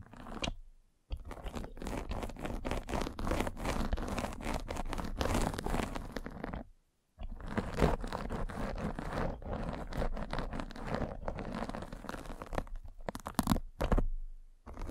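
A derma roller with tiny metal spikes is rolled across a white fabric mesh net stretched over a round microphone head, scratching the netting. The result is a dense, continuous crunchy scratching texture with rapid fine ticks. It runs in long stretches broken by brief silent pauses, and most of the energy sits low.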